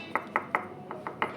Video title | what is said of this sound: REVIEW HONDA CB650R - KUPAS TUNTAS SPESIFIKASI DAN KUALITAS MOGE BIG BIKE | kalau ini diketok ini padat banget bunyinya